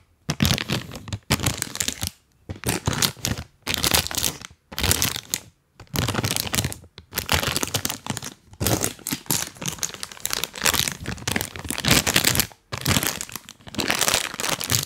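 A full printed plastic cookie bag is rubbed and crinkled with rubber toy hands, giving bursts of bright, dry crinkling and crackling. The bursts are separated by short silent pauses and repeat throughout.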